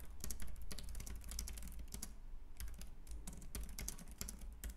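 Both hands type with their fingertips on a white, compact plastic Logitech K380 keyboard with round keys. Rapid, bright keystroke clicks run in quick bursts with a short pause midway, over a steady low hum.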